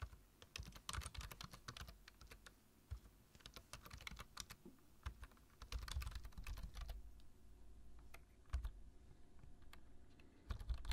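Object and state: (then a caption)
Plastic computer keyboard. Fingertips tap the keys of a black plastic low-profile computer keyboard while typing. The result is bursts of quick, light clicks with brief pauses between them, plus a few louder taps. Each press lands with a soft low thump and a bright click that dies away almost instantly.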